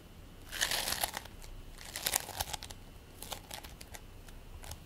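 A fist-sized, solid, soft ball of purple and white play foam, made of tiny polystyrene beads in a sticky binder, is squished and pressed between bare fingertips and palms, then set down on a white plate. It makes quiet, bright, crinkly crackling bursts with sticky popping clicks. The bursts come in irregular clusters, with faint hiss between them.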